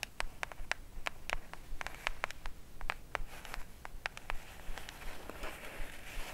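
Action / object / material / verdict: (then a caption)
tap / small cardboard gift box / cardboard / none. Long speckled acrylic nails tap and scratch a small, hollow orange cardboard gift box held in both hands. Quick, dry, clicky taps come in an irregular, brisk rhythm with no ring. They mix with a soft, papery scratching that grows toward the end over a low background rumble.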